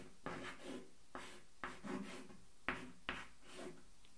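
A hand writes with a stick of white chalk on a small blackboard with a wooden frame, set on an easel. Five sharp taps of chalk meeting the board each lead into a short scratchy, rubbing stroke with bright hiss over a low body. The strokes are separated by brief quiet gaps.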